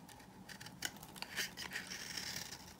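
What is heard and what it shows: A knife blade scrapes a hand-held solid, dry beige bar of soap, cutting off shavings. The sound is a quiet, bright, crisp rasping with a series of short, dry scratchy ticks and almost no low end.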